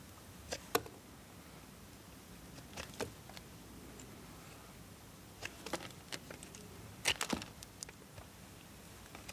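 A small solid blue bar of soap is held in one hand and scraped and carved with a multitool knife blade, with shavings falling onto a wooden board below. Over a quiet background come short, bright scraping clicks and crisp cuts, scattered singly and in clustered bursts.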